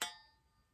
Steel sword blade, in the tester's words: everything's totally solid you can hit it nothing moves you can flick it